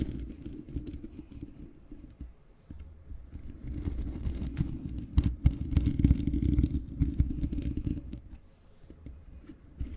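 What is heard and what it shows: Long painted fingernails of both hands scratch and tap the bare black metal mesh grille of a large hollow USB microphone with no windscreen. Dense, boomy low scraping and rumbling fills the clip, with sharp tapping clicks rising most strongly in the middle and quieter stretches near the start and end.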